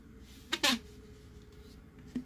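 Fingers tap a hollow, hard plastic BB-8 sipper cup sphere, producing short, bright, clicky knocks with a faint hollow low tone and very little ring. The screw-threaded halves are then twisted open, with a quiet scrape and one last small plastic tap.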